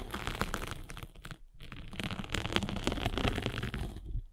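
A metal-spiked derma roller is rolled and pressed over a gray grit sanding sponge with a blue foam core, held flat. This makes a dense, scratchy crackling and crinkling with quick gritty bursts, a brief near-silent pause around the middle, then more rolling crackles to the end.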